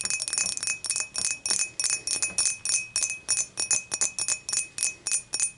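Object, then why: Glass beer mug. Long matte nails tap and scratch a clear, empty dimpled glass beer mug, first tilted and then upright. The result is a rapid, uneven series of bright, high-pitched glassy clinks with a brief ring and faint scratching between them.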